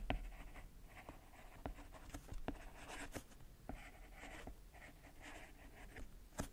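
A hand writes with a white plastic stylus on the solid, flat glass touchscreen of a tablet. Eight sharp, dry tip taps stand out over soft, light scratching strokes across the glass, all quiet and close.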